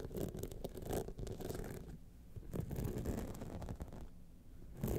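Long nails scratch across the top of the face and along the sides of a gold rhinestone-studded clutch wallet, making a dense, rough, continuous scratching with a low, muffled body. The scraping is fairly quiet overall, dips softer around the middle, then swells louder again at the end.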